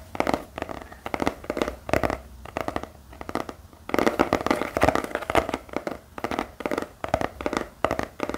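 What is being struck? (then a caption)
Spiral notepad with cardboard cover and wire binding. A small spiral notepad with a black cardboard cover and metal wire binding is held in the hand and scratched and tapped with the fingertips. The result is a rapid, uneven series of dry, papery taps and scratches with almost no ring, centered in the mids, growing busier and louder in the middle of the clip.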